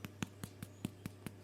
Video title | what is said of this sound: EASTER BAKING~ Hot Cross Buns! | I just need to tap it and listen to hear whether it's Hollow